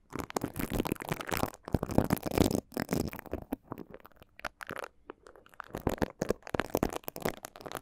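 Two plastic mascara spoolie brushes held in the fingers rub and brush across the slotted grilles of two small, hollow, hand-sized cylindrical metal microphone capsules on an X/Y stereo mic head. The result is close, crackly scratching bursts with a low, rumbly body, broken by brief pauses.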